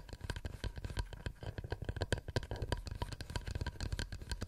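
A wooden plate is tapped rapidly and continuously with fingernails. The taps are short, dry clicks with almost no ring, sitting over a dull, low-heavy thud, at a steady, fairly quiet level throughout.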